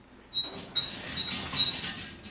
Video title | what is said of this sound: TerryL's 92 Dakota 1.12 VIDEO0008 | that's about it that everything else is pretty pretty rigid